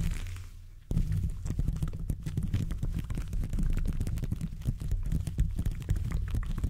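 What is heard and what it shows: Black-and-grey textured gloved fingertips scratch and rub the hollow metal mesh grille of a silver condenser microphone held in a stand. A soft fading hiss gives way to a sudden burst of dense, rumbling, scratchy friction. The rubbing continues as a deep, boomy, crackling texture with quick uneven scrapes.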